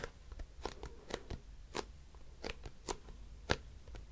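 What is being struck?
Plastic cosmetic bottle.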